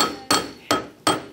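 A steel coat hanger, also called an anvil, is banged on three times to show that steel is really tough. Each strike gives a sharp, bright metallic clank with a clear ringing tone near 1.3 kHz that fades quickly before the next hit.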